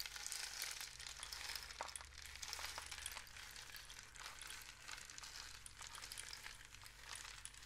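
A long hollow rain stick, apparently a cardboard tube painted with suns and dots with one end wrapped in mesh, is held in both hands and tilted and shaken so the loose filling inside cascades through it. The result is a quiet, steady, bright rushing hiss like rain, dotted with many small crisp ticks and patters throughout.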